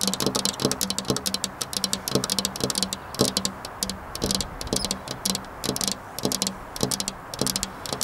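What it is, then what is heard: Glass window pane tapped with fingernails. Long black-polished nails tap rapidly and unevenly on a flat glass window pane. The sound is a quick run of bright, sharp clicks with almost no ring, set over a faint steady hum near 200 Hz.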